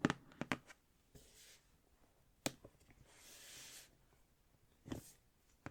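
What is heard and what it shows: Someone taps on the outer cardboard packaging of a Winnie the Pooh book collection box, producing sharp, dry, short taps. Between the taps come soft, hissy rubbing swishes across the surface.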